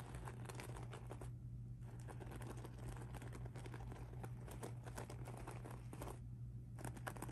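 Fingertips and nails scratch and rub the beaded mesh surface of a pink rhinestone mesh handbag lying flat, making a quiet, dense, crinkly scratching with many small clicks over a steady low hum. The scratching briefly thins out twice before resuming.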